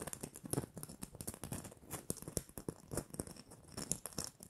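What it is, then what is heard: Glitter-coated plastic bauble scratched and tapped. Long manicured nails scratch and tap the rough glitter surface of a small, hollow, red glitter-coated plastic Christmas bauble with a gold cap and string. The result is a quiet, rapid series of dry, crackly taps and gritty scratches with a bright, sandy hiss, each ending almost instantly.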